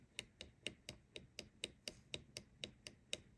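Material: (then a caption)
Steel. In an ERA Fortress mortice lock, the steel top lever sits aligned in its true gate and is rocked back and forth with a pick. It gives thirteen light, crisp, high-pitched taps at a steady pace of about two per second. The lever moves freely, with a millimetre or more of play, which is the normal sound of a lever set in its true gate.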